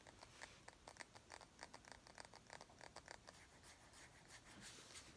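A small, round, clear glass bottle, partly filled with liquid and held in one hand, is tapped and scratched with long acrylic nails. The result is a quiet, rapid series of sharp, bright clicks with a brief glassy ping, which gives way to softer, continuous scratching near the end.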